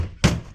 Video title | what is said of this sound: A Mass of Value in a Scale | kind of sounds like plastic